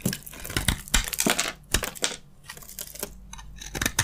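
A utility knife blade scrapes along the surface of a solid, palm-sized white bar of soap with a gold coating. The result is a series of dry, crisp scraping and crunching bursts with bright, gritty edges, separated by quieter rustling between strokes.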